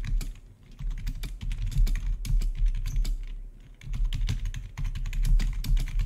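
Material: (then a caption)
Plastic. A full-size black plastic membrane-style gaming keyboard with blue-to-red RGB backlit keys is typed on rapidly by the fingertips of both hands. The result is a dense, continuous stream of soft, muffled key clicks with a heavy low thump beneath them. The stream dips briefly twice before picking back up.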